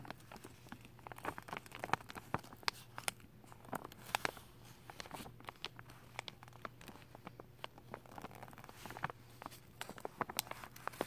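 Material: Plastic film.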